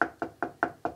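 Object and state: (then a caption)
Damped plastic soundbar enclosure. Five evenly spaced knocks on the plastic housing of a Boston Acoustics soundbar, lined inside with a goopy, tar-like damping material to kill resonance. Each knock is dull and deadened, hardly sounding like plastic, with a midrange thud around 700 Hz that dies out almost instantly.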